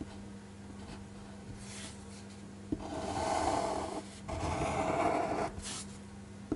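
A black fineliner pen scratches across a flat white paper sheet on a desk, making longer rasping strokes to shade a figure. Two sustained strokes of bright, rough scratching stand out against a faint steady low hum, with soft taps at the start and end.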